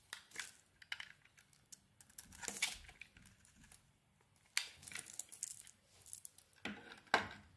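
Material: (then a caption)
Soap. A utility blade carves curled shavings from a solid pink bar of soap, and the shavings pile up beside it. Short, crisp scraping and crackling cuts come at an uneven pace, bright and dry with almost no low end, separated by quiet pauses.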